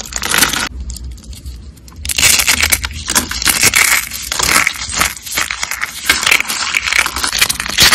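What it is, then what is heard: Dry, brittle soap crumbling. Small, solid, brittle purple and green dry glitter soap rolls are crushed and crumbled between fingertips. Dense, bright, dry crunching and crackling snaps come in rapid bursts, with a quieter, softer stretch near the start before the crunching picks up again. Each crack stops almost instantly with no ring.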